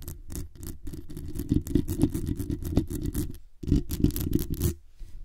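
Long acrylic nails scratch the hollow metal mesh grille of a black condenser microphone from the front and top. Rapid, uneven rasping strokes give a dense, rumbling low scrape with bright, hissy streaks. The scratching stops briefly just past the midpoint, resumes, then thins out toward the end.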